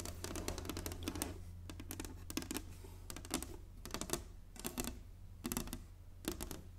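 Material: Wood.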